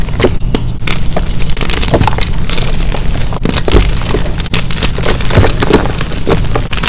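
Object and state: Gym chalk block being crushed.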